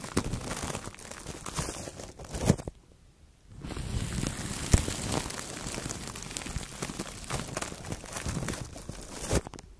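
A fluffy makeup brush and a blue-tipped brush rub clear plastic cling film wrapped over the head of a Blue Yeti microphone. The result is a dense, close, bass-heavy crinkling and rustling with sharp crackles throughout. It falls nearly silent for about a second just before the three-second mark, then resumes.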